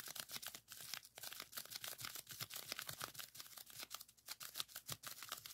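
Fingertips of both hands press and pop the bubbles on a folded strip of clear plastic bubble wrap resting on a table. A rapid, uneven run of sharp, dry pops and crackles is heard, each snap bright and very short with almost no low end. Soft crinkling of the plastic fills the gaps between pops.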